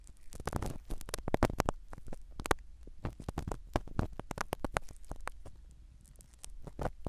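A black spiral ear pick scratches and rubs a small black foam-covered microphone set in the canal of a silicone dummy ear. The result is a close, muffled run of crackling scrapes and soft thumps, heavy in low rumble with brief bright crackles.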